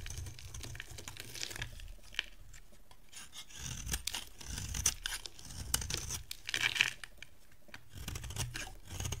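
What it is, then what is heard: Dry soap bar being carved. A dry white solid bar of soap, held in the hand, is carved and scraped with a metal box-cutter blade. The result is a close, steady run of dry, crisp scraping and crunchy shaving strokes, bright and papery with short sharp clicks and a soft low rumble underneath.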